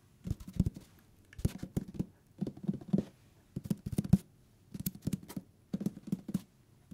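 Fingertips tap quickly on the paper page edges and cover of a thick hardcover book. Soft, dull, low thuds come in six short bursts of rapid patter with quiet pauses between, each tap dying away almost instantly with little brightness.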